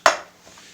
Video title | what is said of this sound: Kürt Böreği Tarifi #part2# | çıtır çıtır hamurun dokusunu duyabilirsiniz